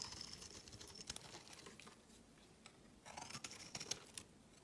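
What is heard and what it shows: A metal utility knife blade shaves fine flakes off a solid, palm-sized white rectangular bar of soap held in the hand. Quiet, bright, crisp scraping and crackling carving strokes run throughout, with a denser, louder flurry of scrapes near the end.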